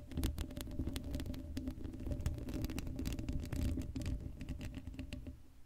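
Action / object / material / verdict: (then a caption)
scrape / steel mesh microphone grille / steel mesh / none. Long acrylic nails scratch across the hollow black steel mesh grille of an uncovered Blue Yeti microphone. The result is a dense, continuous stream of rapid scratchy clicks and taps over a heavy, boomy low rumble, with a faint hollow ring from the mesh. The sound stays steady throughout and fades slightly at the end.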